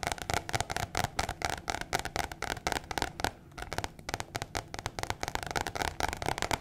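A thin white paper or cardstock card, a flat sheet about postcard size held in one hand, is tapped and scratched quickly with long painted fingernails. The result is a fast, irregular stream of short, dry, crisp taps and papery scratches with a bright edge, briefly pausing midway before continuing.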